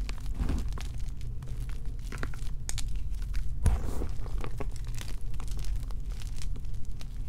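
Fingers and palms squeeze and break up solid chunks of partly crushed white and pink gym chalk blocks (magnesium carbonate) in a bowl. A steady, dense crunching and crumbling is heard, heavy in the low end, with short sharp cracks scattered through it and one louder snap near the middle.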